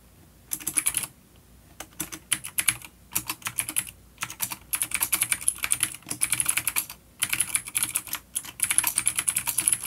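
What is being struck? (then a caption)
Plastic mechanical keyboard. Fingertips of both hands type on a full-size, dark plastic vintage Dolch mechanical keyboard with clicky old blue switches and grey keycaps, resting on a wooden desk. Bursts of rapid, bright, sharp key clicks are broken by short pauses, with very little low end.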